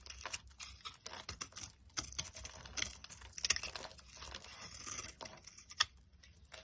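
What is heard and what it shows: A box cutter blade carves flakes off a solid cream bar of soap held in the hand. Quiet, bright, crisp scraping and crackling cuts come in a dense run of short strokes, with little low end and almost no ring.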